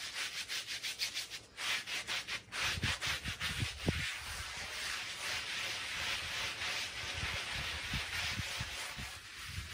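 A handheld brush is rubbed in quick circular strokes over a small, soapy Persian woven pile rug of wool-type textile, which lies flat on a plastic sheet while the other hand steadies it. The result is a bright, hissy scrubbing that pulses rhythmically at first, then becomes a steadier wet rasp with occasional soft low thumps.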